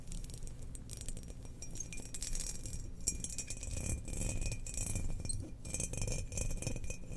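Long nails scratch and tap the patterned outer surface of a hollow glazed ceramic Death Star bowl resting upside down. The result is a steady, dense rasping with bright, crisp high clicks over a low rumble.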